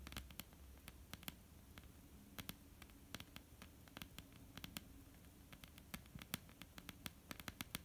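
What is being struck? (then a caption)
Wooden tabletop. Long polished nails of both hands tap a flat, dark, solid wooden tabletop in a quick, irregular patter. Each tap is a sharp, dry, bright click that dies almost instantly, heard over a quiet, steady low hum.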